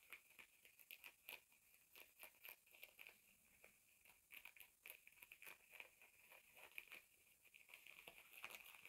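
Fingertips and nails scratch and rub a pair of blue denim jeans lying flat, working around the back pocket and seams of the thick cotton fabric. The result is a quiet, dense run of crisp, dry scratching strokes, bright and hissy with no low end, and a steady tone near 2.4 kHz beneath the quick rasps.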